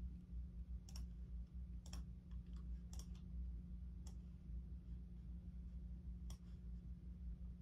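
A fingertip slowly presses keys near the arrow and navigation block of a black plastic computer keyboard, making sparse, irregular sharp clicks. Each click is a brief bright tick over a steady low hum that dominates the quiet clip.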